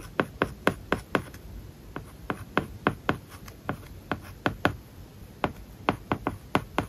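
A stylus tip writes on an iPad glass screen covered with a matte, plastic paper-like film. It makes a steady series of short, crisp taps and scratchy strokes, each dying away almost instantly over a soft background hiss.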